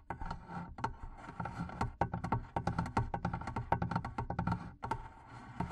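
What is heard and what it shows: Long painted nails and fingertips tap rapidly on the sides of the wooden lid of a hollow, medium barrel-shaped wooden chest with leather straps and metal studs, its lid open with a microphone inside. A dense run of short, dry knocks sounds with a hollow, boomy low body and a woody tone around 800 Hz. Each tap dies away almost instantly.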